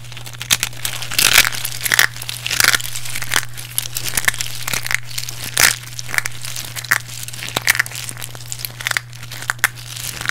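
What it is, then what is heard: Crushed dry soap pieces. A pile of small, solid, dry pink bar-soap chunks is squeezed, crumbled and rubbed between fingertips and palms with long painted nails. The result is dense, bright crunching and crinkling crackles in quick repeated bursts over a steady low hum.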